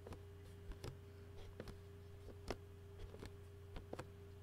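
Fingertips and fingernails of both hands tap and scratch a clear plastic takeout food container lid, making about eight short, dry, quiet taps with brief bright scratchy edges. A steady low hum and a faint constant midrange tone sit underneath throughout.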